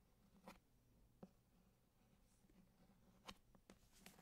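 Fingertips tap and scratch the embossed cardboard cover of a thick hardcover copy of Grimm's Fairy Tales held close to the mic. Five quiet, dry, short taps stand out over a soft, continuous scratching of the cover, with no ring after each tap.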